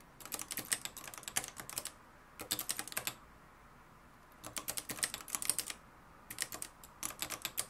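Fingertips type on the dark plastic keys of a mustard-yellow, plastic-cased manual typewriter with a metal mechanism. The typing comes in four bursts of quick, bright, clacking keystrokes separated by short pauses, and each strike dies away almost instantly.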